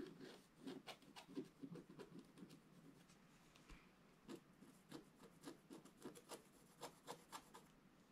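A wooden stylus scratches the black coating off a flat scratch-art paper card, making a series of short, dry rasping strokes with a brief pause in the middle. Each stroke has a low papery rub and bright scratchy edges, with little ring after.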